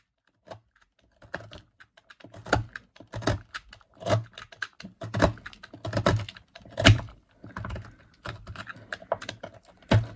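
A small green-handled knife carves and scrapes shavings off one end of a solid, hand-sized rectangular bar of dry yellow laundry soap, held in a hand with long pink nails, as the flakes pile up on a white surface. The strokes come in irregular, short, dry bursts, each a crisp scrape over a low, dull thunk with almost no ring between cuts.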